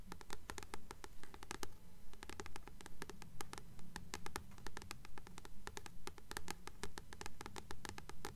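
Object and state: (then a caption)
Paperback book tapped with fingernails. Long fingernails rapidly tap and scratch the glossy cardstock front cover of a single blue paperback, "Practical Magic," held upright in both hands, its solid paper block behind it. The result is a steady, quick, even rhythm of short, bright clicks with brief scratchy strokes over a low, dull thud from the book.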